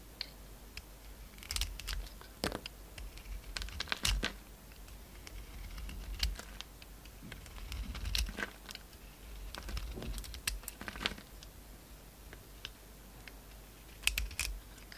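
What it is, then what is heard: Bar soap being shaved. A utility knife blade shaves the surface off a solid, hand-sized oval pink soap bar with a magenta coating. Soft, crisp scraping and crinkly crunching come in short bursts, broken by sharp bright ticks as the blade bites in and lifts away. A faint low hum runs steadily underneath.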